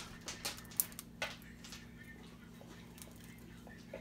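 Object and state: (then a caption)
Crispy roast turkey skin. Crispy skin on a rotisserie-cooked turkey is handled and torn, giving short, bright crinkling and crackling bursts over a steady low hum. The crackles cluster in the first second and a half, then fade to faint rustles, the sound showing the skin is crispy.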